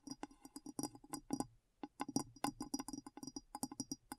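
A glass bowl is tapped in quick, uneven bursts of short, dull clinks with a low tone around 270 Hz and a faint bright chime above. Each tap dies away almost instantly, and the tapping pauses briefly partway through before starting again.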